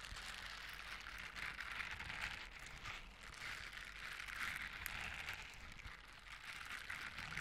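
Blue silicone scrubber gloves with bristle palms are brushed and rubbed together by both hands close to the microphone. It makes a continuous, bright, crackling scratch that swells and eases in slow waves, with little low end beneath it.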